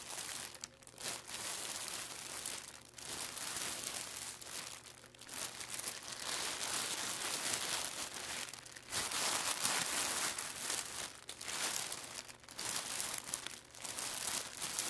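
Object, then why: Plastic packaging bag. Flat palms and fingertips press and rub a flat, layered clear plastic packaging bag with a barcode label lying on a wooden table. The film gives off dense, bright crinkling and crackling in uneven bursts, broken by short quieter pauses, with almost no low end.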